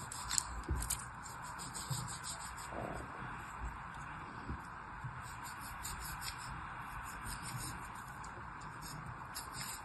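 A thin black knife blade scrapes and cuts through red and white kinetic sand packed solid in a hand-sized plastic cupcake mold, crumbling the surface. The sound is a quiet, steady gritty scraping with a few soft crunches near the start and bright hiss riding over a low rumble.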